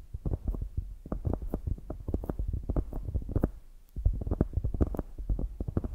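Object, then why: Polyurethane foam squishy toy. Long grey nails tap and scratch the glazed top of a solid polyurethane foam squishy donut and press into the foam. The result is a rapid, steady run of soft, dull, low thumps and muffled squishes with almost no ring, pausing briefly near the four-second mark before resuming.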